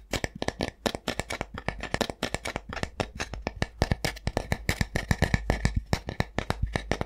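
A solid, flat wooden spatula or spoon is held in one hand and tapped and scratched with the fingertips and nails of the other hand. The result is a fast, continuous run of short, dry taps with almost no ring, each pairing a low thump with a brighter click. A steady low hum runs underneath.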